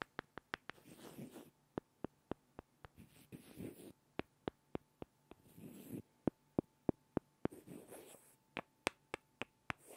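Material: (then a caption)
Wood. Two small, solid, light-wood blocks are rubbed and scraped together by hand. About 23 sharp, dry wooden clicks sound at irregular intervals, broken up by soft, breathy scraping swells. The whole clip stays quiet.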